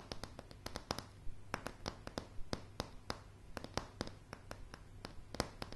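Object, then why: Wooden plank floor tapped with fingernails. Long polished fingernails on both hands tap across a light, solid wooden plank floor. A quick, uneven run of short, dry clicks sounds, each with a soft knock underneath and a bright tick on top, fading almost instantly over a low background rumble.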